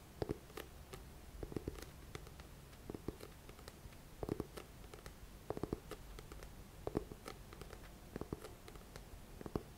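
Fingertips and nails scratch and tap the glossy card front cover and spine of a thick paperback book with a paper cover, held at an angle. Soft, dull taps with short, dry clicks come in quick irregular bursts over a quiet, continuous papery scratching.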